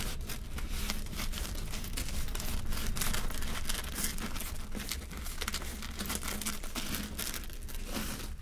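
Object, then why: Seeded bread loaf crust. Fingertips and nails squeeze and press the crisp crust of a large, solid oval loaf of bread with a seeded crust, held up in both hands. The result is a continuous run of dense, crinkly crackling and crunching that reaches bright, high frequencies. A steady low hum sits underneath throughout.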